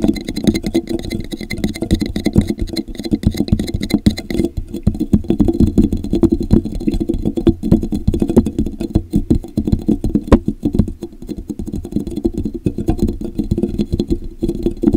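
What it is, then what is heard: Plastic tumbler cup. Fingertips tap and scratch the base and sides of a hollow, empty translucent plastic drinking cup with a popsicle print, held upside down over the microphone. The result is a steady stream of rapid, muffled taps and soft scratching with a hollow, boomy low-mid resonance and almost no bright content.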